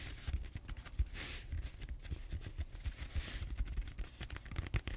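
Fingertips and short nails scratch and rub the textured surface of a large, solid purple styrofoam foam roller held horizontally. The quiet, dull, low rubbing bumps run steadily throughout, with two brighter, hissy scratching swells around the first and third seconds.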